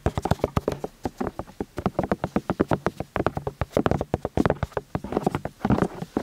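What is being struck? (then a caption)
Silicone ears of a binaural microphone. Two people rapidly tap the silicone ears, set in plastic housings, of a white binaural microphone on a stand, using their fingertips from both sides. Dozens of short, dry, muffled taps land in an uneven, overlapping patter. Each tap has a soft low-mid thump, little brightness and no ring.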